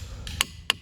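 A boulder is struck with a hammer, giving three short, dry ticks, the first faint and the next two sharper and higher-pitched. Each dies almost instantly, with no ringing tone, so the boulder is a dull, non-ringing one and is rejected.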